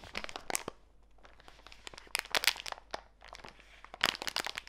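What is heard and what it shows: A small clear plastic bag full of walnut pieces, resting on a foam mat, is pressed and crinkled by fingertips with long nails. Quick bursts of crisp, bright crinkling and crunching come in irregular clusters, separated by brief quiet gaps, with almost no low end.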